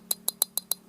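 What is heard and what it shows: The unscrewed aluminum battery cap of a Taff LED headlamp, two years old, is tapped against the metal body, making five short, bright metallic clinks. Each clink dies away almost at once, and the sound is mostly high-frequency.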